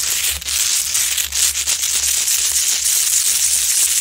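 Long acrylic nails scratch and claw at the rough sides of a large, solid rock-salt Himalayan salt lamp glowing orange. A steady, bright, hissy scraping fills the clip, with faint low rumble underneath and brief dips where the nails shift.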